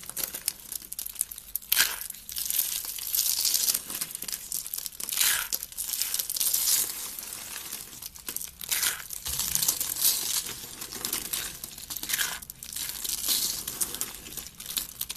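Fingers with red nails squeeze, break and crumble thin, brittle, hollow pink dry soap curls into flakes. Dense, dry, bright crackling and crunching runs steadily throughout, with louder bursts as the curls snap apart.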